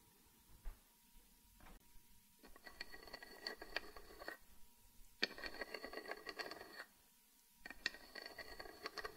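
Long painted nails tap and scratch on the carved lid of a small, closed, hollow wooden box. Two single light taps come first, followed by three bursts of rapid tapping and scratching separated by short pauses. The bursts sound dry and clicky with bright, ringing overtones, over a faint steady hum.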